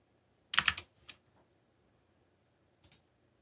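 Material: Plastic.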